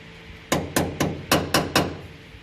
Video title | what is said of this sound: Landau boot floor install | it sounds solid then yes it's holding